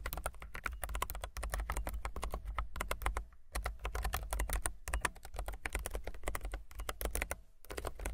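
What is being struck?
Low-profile mechanical keyboard with plastic keycaps.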